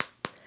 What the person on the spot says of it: They are nice and crisp. Hear that? Knock on wood.